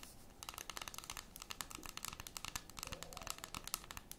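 A large solid dark chocolate bar, unwrapped and held flat in both hands, is scratched and tapped across its square segments by long red and metallic acrylic nails. The result is a quiet, rapid series of short, crisp clicks and taps with bright, crinkly scratching between them. There are no lingering tones.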